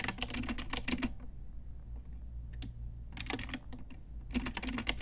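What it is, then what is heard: Plastic mechanical keyboard being typed on. A full-size pink Ajazz mechanical keyboard with round plastic typewriter-style keycaps on a hollow plastic case is tapped with long nails and fingertips. Quick bursts of bright, sharp plastic clacks come in flurries, broken by short pauses, over a faint steady low hum.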